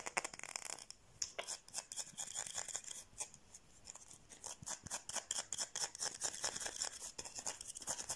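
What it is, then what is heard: Soap bar. A solid white, palm-sized oval bar of soap is held in the hand and quickly scratched and tapped with long painted nails. The result is a fast, steady run of dry, crisp clicks and scratchy rasps, bright and high with almost no low end, and each tap stops short with no ring.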